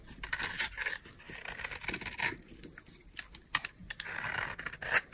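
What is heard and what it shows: A utility knife blade scrapes a solid, palm-size oval bar of dry green soap held in the palm. Crisp, bright shaving strokes come in short, uneven bursts with sharp clicks between them and almost no low end.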